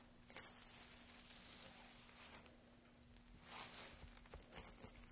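Gloved hands grab, crumple and stir a pile of thin, dry wood shavings, producing a soft, bright crackling rustle. The sound rises and falls in a few busier bursts over a faint steady low hum.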